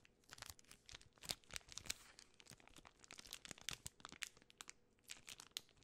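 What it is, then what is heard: Plastic candy bar wrapper. A full, large Twix bar in a gold and red plastic film wrapper is handled and crinkled, possibly pulled at by fingertips and long nails. Quiet, bright, dry crackles and crunchy snaps come in a dense, irregular stream with almost no ring or low end.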